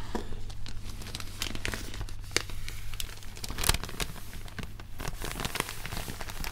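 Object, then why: Thin paper popcorn bag. An empty, thin, hollow red-and-white striped paper popcorn bag is opened, crumpled and rubbed by white cotton-gloved fingers. Dense, bright crinkling and crackling runs throughout, with sharp snaps standing out over a steady low hum.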